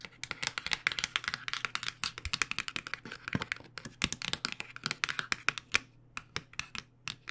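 Long nails tap rapidly on the front and side edge of a cardboard box of acrylic paint pens held flat. A fast, uneven run of dry, bright clicks with almost no ring sits over a faint steady low hum, briefly thinning into sparser taps near the end.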